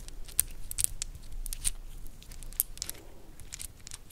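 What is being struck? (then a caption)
Wooden segmented bracelet. Fingernails scratch and tap a black wooden segmented bracelet with white star inlays while it is bent, so the segments click against each other. Sharp, bright clicks and taps come at an irregular pace over a soft, dry scratching.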